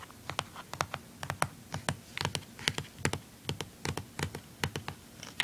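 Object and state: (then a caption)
Plastic handheld game console casing. Fingernails tap and scratch the back casing on the underside of a blue plastic handheld game console. A quick, uneven run of sharp, dry clicks with bright tops and a light low thump dies away almost at once, with faint scratchy rubbing between taps.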